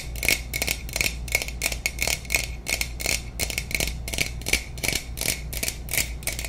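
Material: Aluminum.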